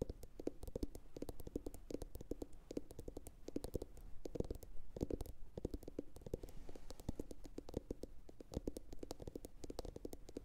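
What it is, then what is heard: Hollow ceramic bowl. A medium, hollow, empty blue glossy bowl, likely ceramic, sits upside down and is tapped rapidly with long pointed acrylic nails from both hands. The result is a dense, continuous stream of quick, dry clicks with a soft hollow tone that stops almost instantly after each tap, with no lingering ring.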